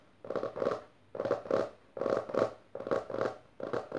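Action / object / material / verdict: scrape / hardcover book with textured cloth cover / book cloth / none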